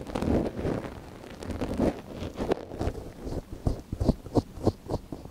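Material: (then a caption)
Silicone. A thin wooden ear pick, held in a gloved hand, scratches inside the ear canal of a small, hollow white silicone dummy ear on a binaural microphone. Close, rustling scrapes and soft crackles give way to a run of short, distinct scratching strokes.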